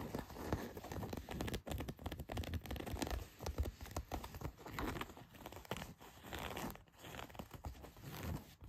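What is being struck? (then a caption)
Denim jeans, cotton fabric. Long white nails scratch and rub across a pair of blue denim jeans lying flat, working over the back pocket and its heavy stitching and seams. The result is a steady, dense, rough scratching and rasping with a dull, low-heavy texture, swelling and easing in short strokes with brief pauses between passes.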